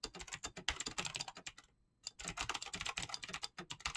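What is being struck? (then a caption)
Mechanical keyboard with plastic keycaps. Fingertips with short nails tap rapidly across a full-size mechanical keyboard with clicky green switches and PBT plastic keycaps in fast typing. Sharp, bright clicks follow one another quickly, each dying away almost at once, with a brief pause near the middle before the typing resumes.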